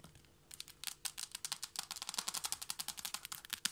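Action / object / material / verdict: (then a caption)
tap / wooden or laminate floor tapped with fingernails / wood / none. Long blue-tipped nails tap rapidly with both hands on a flat, solid wooden or laminate floor. The result is a quick run of about 23 sharp, dry clicks, bright and high with almost no low end, each dying away at once.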